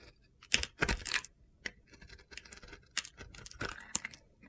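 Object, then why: Glitter-coated bar soap and metal blade. A metal utility knife blade slices and scrapes the coated surface off a palm-sized, hand-held bar of solid purple and blue glitter soap that is white inside. The result is a series of irregular, crisp, gritty scraping and crunching bursts with a bright, high-heavy texture and quiet gaps between strokes.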